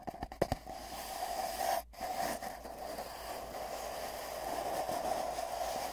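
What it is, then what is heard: Hollow empty cardboard tube. Fingertips of both hands tap rapidly in a galloping rhythm on a long, hollow, empty cardboard tube, giving six quick, dull taps in the first half-second. The hands then hold the ends, and the tube carries a steady hollow, resonant hiss centered in the midrange, briefly cutting out near the two-second mark before the whooshing tone returns.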